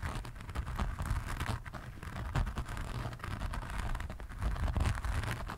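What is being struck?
Diamond painting canvas with faceted resin drills.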